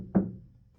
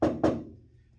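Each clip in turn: First: steel truck floor panel damped by sound deadener mat, dull thud. Second: bare steel floor panel, undamped ringing tap.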